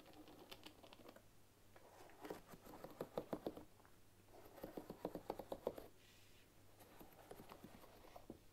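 Long nails flick and scratch the wooden pins of a bamboo paddle hairbrush resting on a wooden table. Quiet, dry clicking comes in several quick bursts, with soft scratching between them. The sound is mostly mid-range, and each tap dies out almost immediately.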